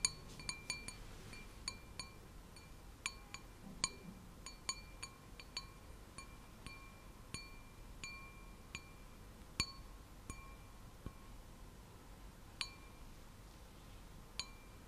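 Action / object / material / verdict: tap / stemmed glass wine glass / glass / none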